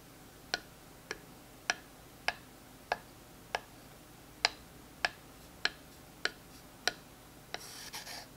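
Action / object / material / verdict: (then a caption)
scrape / textured wooden stick rubbed with a wooden dowel / wood / none. A smooth wooden dowel strikes and rasps along a thin, textured wooden stick held in the hand. Twelve sharp, bright, dry ticks come at a steady pace with almost no ring, then a short, scratchy rasp ends the clip.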